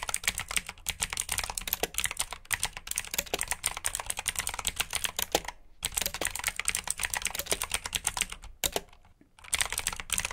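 Fingertips with short nails type rapidly on a full-size black plastic mechanical keyboard with RGB backlit keycaps, clicky blue switches and hollow key housings. A dense stream of bright, sharp clicks fills the clip, broken by brief pauses near 5.7 and 8.7 seconds. The typing picks up again at the end.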